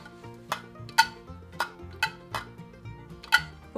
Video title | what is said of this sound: Nostalgic Art Unboxing 2022 | das klingt anders vielleicht machen wir das einfach mal auf es sind keine pfefferminzpastillen